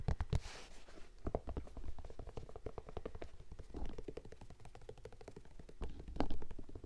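Fingertips rapidly tap the upper and white rubber sole of an empty lavender Vans-style high-top sneaker with a printed canvas and suede upper, held up in front of the face. The result is a quick, steady patter of soft, dull, low thumps with almost no ring, rising briefly into a few louder taps.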